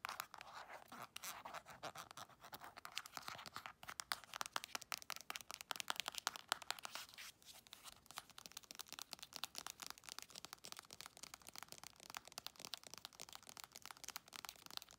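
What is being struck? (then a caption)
Soft plastic lotion tube. Long acrylic nails rapidly scratch and tap a soft plastic Palmer's cocoa butter cream tube, including its ridged crimp seal. The result is a dense stream of crisp, bright clicks and scrapes with almost no low end. Each tick is very short and dry, and the clip is quiet overall.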